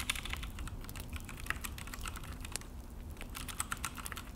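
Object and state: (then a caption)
Plastic mechanical keyboard being typed on. Both hands' fingertips type on a full-size Akko mechanical keyboard with an orange plastic case and black plastic HyperX keycaps, resting on a desk. A quick, steady stream of sharp, bright plastic key clicks and taps sounds over a low, constant background hum. Each press dies away almost instantly.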